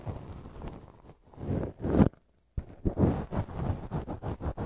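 A wooden earpick held in the fingertips scrapes inside the soft, hollow canal of a left silicone ear model mounted on a binaural microphone. Muffled, low scraping and rubbing swells in uneven bursts and breaks off into a brief silence. It then resumes as a rhythmic run of short, close strokes.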